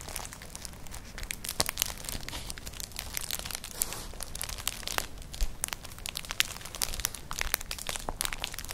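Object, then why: Woven straw clutch bag. Long nails scratch across a flat, colourful, hollow woven straw-like clutch bag, making a continuous dry crinkling and scratching texture. Dense, bright ticks and crackles come in quick irregular bursts over a low rustle, each one dying away almost instantly.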